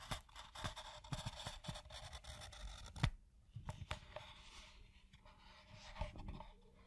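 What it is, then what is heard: Pebbled leather scraped with a pen. A black pen tip scrapes along the edge of a tan pebble-grain leather piece, adding and tracing black lines in a run of quiet, scratchy strokes with sharper ticks at about 3 and 6 seconds. The drawing sound eases off as the pen lifts away at the end.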